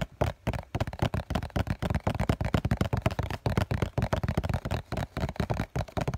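A hollow cardboard COCON tissue box is held in both hands while fingertips and nails tap rapidly on its white printed face. The taps come in quick, uneven bursts, each a short, dull, low-pitched thud with a hollow cardboard knock and almost no ring.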